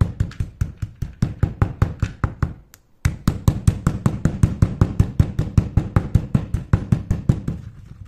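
A stone pestle gripped in the hand knocks and grinds finely crushed multicolored chalk powder in a grey stone mortar. There are 39 dull, short, low-pitched knocks at a steady, slightly uneven pace, with a brief pause just before the three-second mark. Each thud dies away almost at once.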